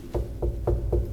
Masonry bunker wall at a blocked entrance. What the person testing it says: son creux donc on est bien au sous-sol et ce creux en fin de compte correspond à un tunnel